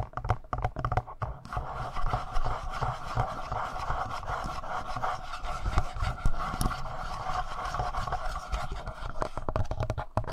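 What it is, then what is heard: Plastic handheld audio recorder. Fingertips tap and scratch the lower front panel and buttons of a palm-sized, hollow, black plastic Tascam portable recorder, without touching the mic capsules. The result is dull, close-up thumps heavy in the low end over a steady rubbing, scratchy texture, with a quick burst of taps at the start and end.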